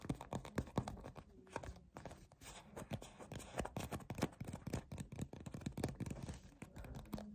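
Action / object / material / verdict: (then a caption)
scrape / soft plastic cream tube / plastic / none. A white soft plastic peptide moisturizer tube with a black cap, hollow and filled with cream, is gripped and scratched with fingertips and short nails. Quick, dense scratches and soft tapping squeezes sound dull and low, with little brightness and almost no ring after each touch.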